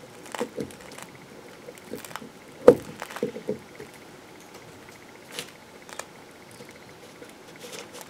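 A metal knife slices and scrapes the rounded end of a solid green soap bar, and the soap flakes pile up on paper. Soft, scattered scraping and crisp cutting sounds come in short, dry bursts, with the sharpest cut about a third of the way through, over a quiet steady background.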